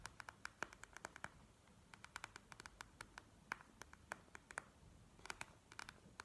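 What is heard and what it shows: Long nails tap and scratch the beaded plastic surface of a gel-bead eye mask lying on a table. Dozens of quick, sharp, clicky taps sound in irregular bursts with brief pauses, each one dry and bright with a tone around 1.5 kHz and almost no ring. Soft scratching fills the quiet gaps between them.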